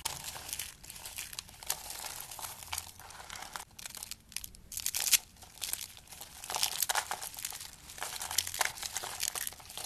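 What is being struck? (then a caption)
Soap shavings crushed by hand. A bare hand crushes and squeezes handfuls of dry beige and cream soap shavings from a pile. The result is dense, bright, crinkly crunching, almost all high-pitched with very little low end, coming in uneven bursts with a sharp peak around the middle.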